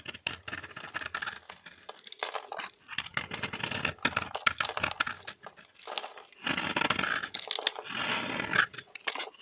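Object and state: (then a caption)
Dry bar soap being shaved. A metal blade scrapes and shaves a solid rectangular pink bar of dry vintage soap held in the hand, cutting it into crunchy curls. The result is dense bursts of crisp, bright crackling and crunching, with very little low end. Each stroke stops dry, with no ring.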